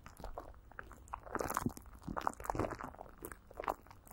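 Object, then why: Plastic wrap coated with petroleum jelly over a microphone. Greasy fingers and a palm rub and pat clear plastic film coated with Vaseline, stretched over a hollow microphone grille. The result is close, sticky crinkling and crunchy, wet-sounding pats in irregular bursts, with short, dry transients that stop almost instantly.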